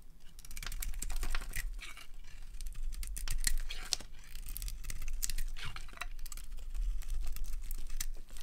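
A metal blade cuts through the shell of a dry, solid, palm-sized orange soap bar decorated with glitter and carves chunks from its pale inside. The result is a dense run of crisp, bright scraping and crunching sounds over a steady low hum, swelling and easing as each chunk breaks away.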